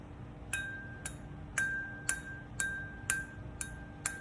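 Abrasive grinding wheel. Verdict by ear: Sound.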